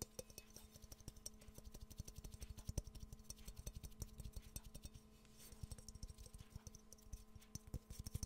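Fingernails tap quickly and repeatedly on the glazed surface of a hollow, empty yellow ceramic Pikachu mug held close to the mic. Dozens of short, dry ticks and light clinks come in rapid irregular bursts, each with a soft low thump and a bright click, and none ring on. The tapping eases briefly around the five-second mark before picking up again over a faint steady hum.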